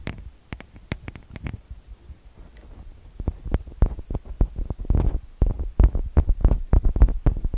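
Fingertips and nails tap and rub the metal-grille microphone capsules of a TASCAM DR-40X recorder throughout. Close, deep thuds come in irregular bursts with bright scratchy clicks on top, and a softer rubbing stretch in the middle. The tapping then grows louder and denser toward the end.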